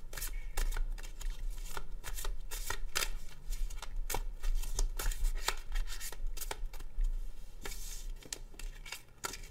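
A black-backed deck of coated paper cardstock tarot cards is shuffled repeatedly by hand with the fingertips over a wooden table, the cards riffling and sliding against each other. Quick, bright papery flicks and soft slides run almost continuously over a steady low hum, easing off slightly near the end.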